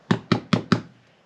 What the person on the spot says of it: You tap on it and you hear that hollow sound.